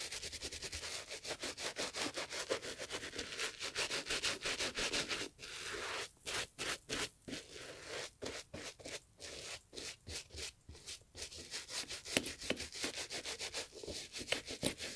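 A gloved hand scrubs a foam-covered brown leather Italian loafer with cream fabric panels, sitting hollow on a grey mat, using a wooden-backed bristle brush. The result is a rapid run of bright, dry scratching and rubbing strokes. They are dense and steady at first, then come in more separated bursts with short pauses.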